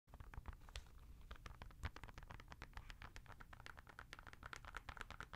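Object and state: Knit and rubber sneaker.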